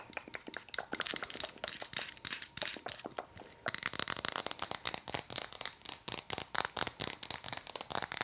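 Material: Wood.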